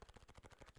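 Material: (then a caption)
Plastic. An original "fat" Nintendo DS, a plastic handheld game console with a dented screen and a sticky surface, is tapped repeatedly. The taps come in a quick, even run of soft, dull, low-pitched knocks with almost no ring.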